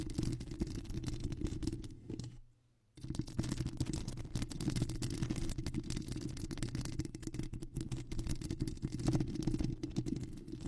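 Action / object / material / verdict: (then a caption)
scrape / foam microphone windscreen / foam / none. Long square acrylic nails scratch and tap the surface of a black foam windscreen on a microphone, making a dense, muffled, low rustling crackle. It stops briefly near the two-second mark before resuming steadily for the rest of the clip.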